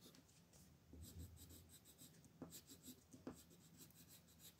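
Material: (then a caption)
Paper. A red colored pencil rubs and scratches across a thin sheet of white paper printed with a mandala, lying flat on a wooden table while the other hand rests still on the sheet. Repeated shading strokes make a quiet, dry scratching with bright hissy bursts over a soft low rumble, with a couple of sharper scrapes standing out.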